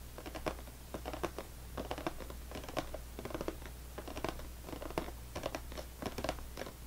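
Fingernails tap rapidly with both hands on top of a full, closed cardboard saltine cracker box. The result is a fast, dry patter of short clicks, with a steady low hum underneath.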